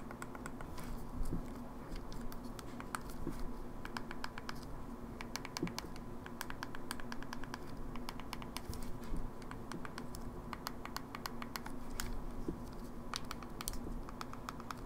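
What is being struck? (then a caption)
Plastic handheld game console. Long nails rapidly tap the face buttons and plastic body of an open, small, hollow silver plastic Game Boy Advance SP. The result is a fast, continuous patter of light, sharp clicks with bright edges over a steady low hum.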